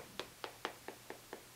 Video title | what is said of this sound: Nikon Prostaff 7 10X42x binocular review | it's not going to make a tinging sound or a ping